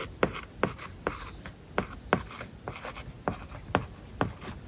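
A plastic stylus writes words on an iPad lying flat, its glass screen covered with a matte plastic paper-like film. Sharp taps sound as the tip strikes the surface, with soft scratching strokes between them, dry and close with almost no ring.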